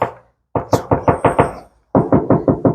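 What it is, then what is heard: Hollow-sounding steel car body panel. Knocks on the steel side body panel of a BMW E30 325iS EVO1 being restored, first as the tail of one knock, then a quick run of six knocks, a short pause, and another even run. Each knock is a short, hollow, mid-pitched tap centered near 450 Hz that fades within a fraction of a second. The panel sounds hollow, unlike a muffled spot that has filler.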